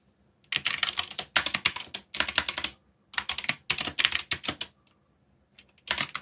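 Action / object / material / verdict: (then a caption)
tap / mechanical keyboard with plastic keycaps / plastic / none. Fingertips type fast on a backlit mechanical keyboard with plastic keycaps, producing bursts of rapid, bright, clacky key taps. The bursts are separated by short silent pauses, and each tap is sharp with almost no low end and no lingering ring.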